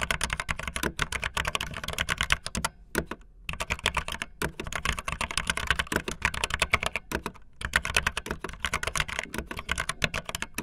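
Fingertips with long nails type fast on a backlit optical linear mechanical keyboard with white and blue plastic keycaps. The result is a dense run of short, bright, clacky key clicks with a low thump beneath, broken by brief pauses near 3 and 7.5 seconds.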